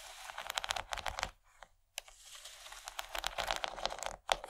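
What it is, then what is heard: Plastic tray tapped and scratched. Long painted nails of both hands tap and scratch the raised corn-cob texture of a large, empty rectangular yellow plastic tray that is thin and hollow underneath. The result is a quick, bright stream of crisp clicks and crinkly scratching with little low end. The sound stops briefly partway through and again just before the end.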